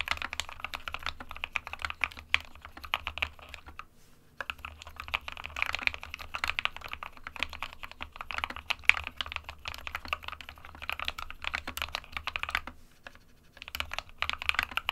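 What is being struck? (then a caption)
Plastic mechanical keyboard. Fingertips of both hands type continuously on an SK61, a small 60% white plastic-cased mechanical keyboard with plastic keycaps, resting on a desk mat. The result is a dense stream of short, bright plastic clacks with almost no ring. The typing pauses briefly around 4 and 13 seconds.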